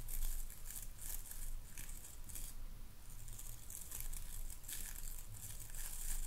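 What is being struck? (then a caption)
Boar bristle brush with wooden handle. Fingertips and nails scratch the boar bristles of a wooden-handled hairbrush held close to the microphone. The result is a series of bright, crinkly scratching bursts over a steady low rumble.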